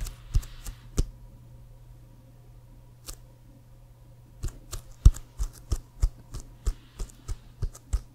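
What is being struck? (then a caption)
Inflated leather American football. Fingernails tap on the leather near the logo of an inflated, hollow leather American football. Short, dry clicking taps with no ring come in an irregular series: a few early taps, a long quiet gap, then a steadier run of taps. A faint low hum sits underneath throughout.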